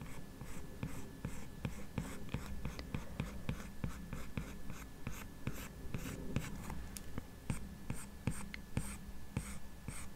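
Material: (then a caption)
Glass. The plastic tip of an Apple Pencil, held in the fingers while drawing, strokes and taps across the solid glass touchscreen of a large 12.9-inch iPad Pro lying flat. About 25 short, irregular clicks and taps come through over soft scratchy strokes, with each tap dying away quickly. Beneath them sits a steady low hum and a faint constant tone.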